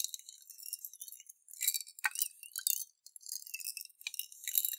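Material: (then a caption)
Glass. A clear glass jar with a metal lid, partly filled with water and beads, is tipped and shaken in both hands. The beads clink and rattle against the glass in quick, bright, high-pitched chinks, with a soft watery swish beneath. The sound stays light and tinkling throughout, with almost no low end.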